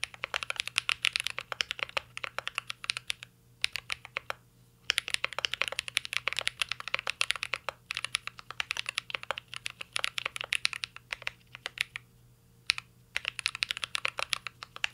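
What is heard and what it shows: A mint-green Cyberboard R3 mechanical keyboard with plastic keycaps and an aluminum case is typed on continuously by fingertips. Bright, crisp key clicks come in rapid bursts, with brief pauses between runs. A faint steady low hum sits underneath.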